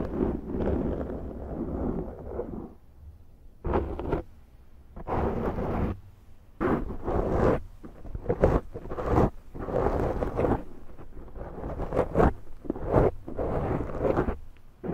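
Long nails slowly scratch the top and sides of a large round black foam windscreen on a Zoom microphone. The result is deep, muffled, rumbling rustles in uneven bursts separated by short quiet gaps, with most of the energy low and almost nothing bright.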